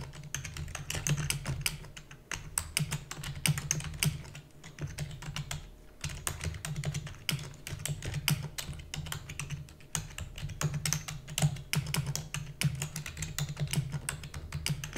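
Fingertips with long natural nails rapidly press the keys of a black full-size plastic computer keyboard with hollow key housing. Quick, bright clicky taps with a low hollow thump run in a dense, steady stream of typing, each tap dying away almost at once.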